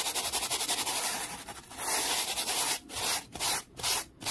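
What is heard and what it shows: A black-bristled brush held by the fingertips is swept rapidly back and forth across a small solid wooden board resting on a towel. The result is a fast, dense, bright scratchy hiss of bristles on wood, with almost no low end. Toward the end, the strokes separate into distinct swishes with short gaps between them.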